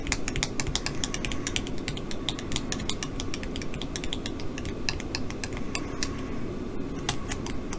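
Long glittery acrylic nails scratch and rub a small green shaggy-fur polyester bean bag plush frog with a paper heart tag, soft and filled with pellets. Quick, uneven bright ticks and crisp scratches come over a steady low, fuzzy rustle throughout.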